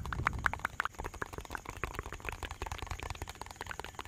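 A small clear plastic bottle with a white cap and a red-and-white label is held close to the mic and tapped and scratched with fingertips and nails. Fast, sharp, hollow plastic clicks ring briefly around 1.5 kHz over a soft low rumble. The taps are loudest in the first second, then settle into a quieter, steady run of rapid tapping and scratching.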